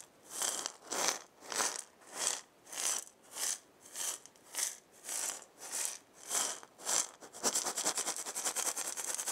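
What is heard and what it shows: A hand-sized round wooden maraca with a wooden handle and a burned zigzag pattern, hollow with filling inside, is shaken back and forth by hand. About a dozen evenly spaced, bright, hissing swishes of the filling are heard, each one short and dry. In the last two seconds the shaking turns into a fast, continuous rattle.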